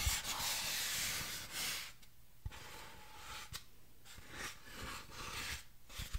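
Long orange-painted nails scratch and rub a medium orange artificial pumpkin with a green stem, seemingly solid, lightweight craft foam, held in both hands close to the microphone. Bright, dry rasping strokes come in uneven bursts, broken by a few soft low taps. The sound stays quiet and stops short without ringing.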